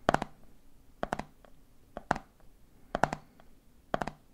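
Fingertips tap the red plastic lid of a medium clear plastic jar full of peanuts, then fingers tap the jar's side. The result is quick, dry plastic clicks grouped in galloping triplets that repeat five times, each group starting at a slightly different time. Every tap dies almost instantly with a hollow mid-pitched knock.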